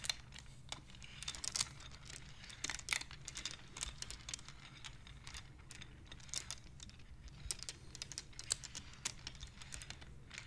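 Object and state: Wooden abacus beads clicking.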